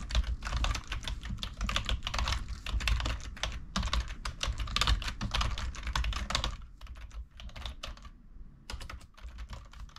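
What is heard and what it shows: Fingertips type fast and continuously on the keycaps of a full-size black plastic computer keyboard resting on a wooden table. Dense, rapid clacking keystrokes carry a bright clatter over a low thump. After about six and a half seconds the typing grows quieter and sparser, with short pauses between bursts.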